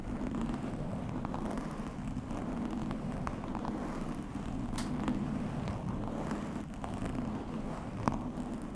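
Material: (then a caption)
Foam. Fingertips of both hands scratch and rub directly on a soft, fist-sized black open-cell foam windscreen fitted over a blue microphone. The result is a steady, close, muffled rumbling crackle with a strong low band, dotted with brief sharp clicks and ticks throughout.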